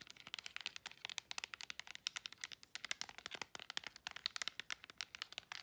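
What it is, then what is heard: Plastic remote control. Long acrylic nails rapidly tap the rubber buttons and scratch the edges of a handheld plastic LED remote control. The result is a quick, quiet run of dozens of short, dry clicks with scratchy crinkle between them, bright and high with almost no low end.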